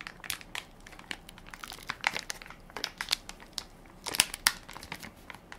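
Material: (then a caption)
Plastic film. Fingertips and nails crinkle and scratch the film top of a full, soft plastic-film baby wipes pack with a plastic lid, held in one hand. Dense, bright, dry crackles come in quick, irregular bursts with almost no low end, and a few sharper, louder crinkles stand out around the middle and near the end.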